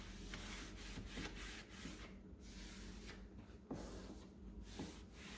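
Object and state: Painted particleboard cube shelf being wiped.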